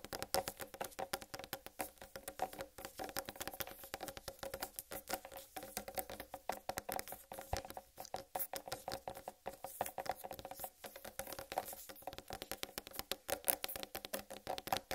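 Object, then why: Whole watermelon. A large, whole, uncut watermelon with a solid rind is tapped and scratched with long red nails and fingertips. Rapid, dry, short-lived clicks and taps with a hollow mid-pitched tone are mixed with bright scratching across the rind. The sound is steady and quiet throughout.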